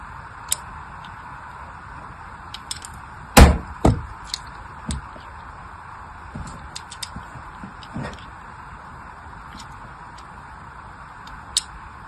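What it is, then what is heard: Soap bar being scored with a blade. A small black craft blade tip scratches and scores a grid of lines into the face of a palm-sized, unwrapped solid orange soap bar held in one hand. Sharp, bright scraping ticks come at irregular intervals, with two heavier, low thumps close together early on, over a steady soft hiss.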